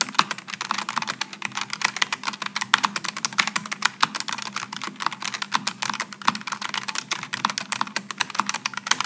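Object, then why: Aluminum and plastic low-profile mechanical keyboard. Fingertips of both hands type continuously on a Logitech G915 low-profile mechanical keyboard with an aluminum top and plastic keycaps, pressing its GL switches on a wooden desk. A rapid, steady stream of crisp, short, bright clacks rises from a faint low hum, each keystroke dying away almost instantly.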